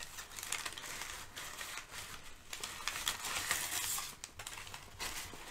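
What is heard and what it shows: Crumpled sheets of thin, flexible brown kraft packing paper resting on a rug are crinkled and rubbed with the fingers of both hands. The result is a steady, irregular crinkling and rustling, bright and hissy in the upper frequencies, with brief louder crackles rising and falling throughout.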